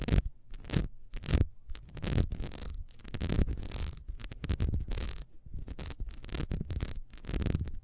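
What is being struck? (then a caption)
Ribbed wax beehive candle. Long nails scratch fast across the ridges of a small, solid, ribbed wax beehive candle lying on its side. Short bursts of dry, bright scratching and rasping come in quick succession over a low, rumbly undertone. The strokes run back and forth without pause for the whole clip.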